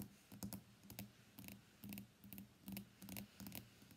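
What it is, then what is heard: Glass-backed smartphone tapped with fingernails. Long fingernails tap rapidly on the solid glass back of a white iPhone X lying face down on a desk mat. The quick, uneven bursts of dry clicking taps have bright, sharp edges over a low body near 200 Hz, and each tap dies away almost instantly.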